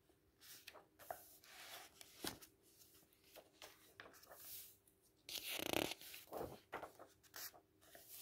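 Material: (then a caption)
Paper. Fingertips and palms rub and smooth the thin paper pages of a large open paperback book lying on a table, lifting page corners as they go. Soft, bright papery rustles, crinkles and quick swishes come and go quietly, with a louder, longer sweep of paper partway through.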